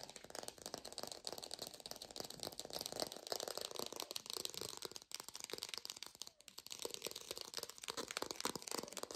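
A textured artificial plastic orange is fast-tapped in a lo-fi recording, producing a dense, continuous stream of short, dry clicking taps that blur into a rattle-like texture. The sound is bright and crisp with almost no low end, and the rapid tapping runs steadily throughout with only brief pauses near the middle.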